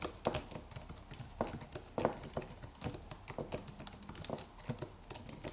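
Fingertips of both hands type rapidly on a slim white Apple-style wireless keyboard with an aluminium body and white plastic keys. Dense, quick clicks and taps come in an uneven stream, each short and dry with a mid-pitched knock around 500 Hz and bright clicky edges. There is no lasting ring between strokes.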